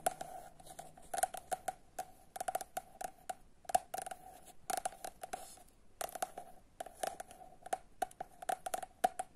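A solid paperback copy of "Samac" with a glossy printed cardboard cover is held in hand while long nails tap rapidly and scratch across the cover. Dry, bright clicks sound in quick irregular bursts, with a hollow tone near 730 Hz that dies almost instantly. Soft scraping fills the gaps between the taps.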